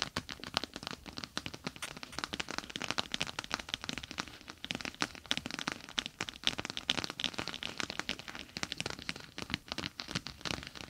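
Long acrylic nails tap with their tips on a clear plastic gel bead eye mask with a green fabric rim, resting on top of the microphone, then scratch and rub along its sides. The result is a dense, irregular stream of quick, bright, crackling and crinkling taps with almost no low end and no ring after each hit.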